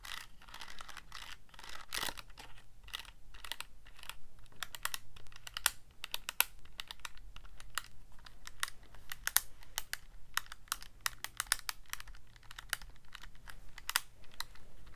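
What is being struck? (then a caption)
Plastic calculator keypad. A fingertip presses the plastic keys of a Casio calculator keypad in a rapid, uneven run of short, dry clicks. Each click is bright and dies away almost at once, over a faint, steady low hum.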